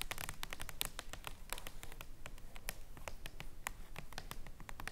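Long nails tap rapidly on the surface of a large printed paper jumbo playing card, a king of hearts, lying flat on a table. The taps are quick, crisp, bright clicks in an uneven patter that die away almost instantly, over a soft low rumble.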